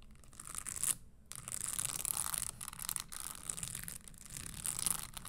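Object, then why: Studded leather stiletto pump. Long nails scratch across the studded toe of a red spiked leather Christian Louboutin stiletto pump and tap on its leather insole. The result is a steady, bright, dry scratching rasp with a brief pause near the start.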